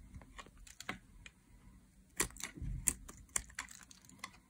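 A metal blade shaves thin curls from the edge and face of a solid green dry soap bar held in hands. It makes a series of short, crisp, bright scraping clicks at an uneven pace, with a soft low rustle underneath. The clicks cut off dryly, with no ring.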